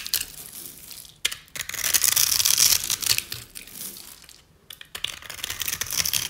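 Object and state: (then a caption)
Dry soap bar scraped. A metal utility-knife blade scores and scrapes a solid rectangular bar of dry white soap held in the hand. The result is bright, crisp crunching and scratching with short bursts of scraping separated by brief pauses.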